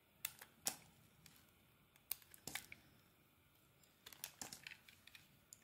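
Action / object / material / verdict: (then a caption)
scrape / soap bar shaved with a metal blade / soap / none. A metal utility-knife blade shaves and carves thin curls off a solid white bar of soap with a teal embossed coating, held in the hand. The result is quiet, crisp, bright scraping and cutting strokes in irregular short bursts, with faint soft rasping between them and almost no low end.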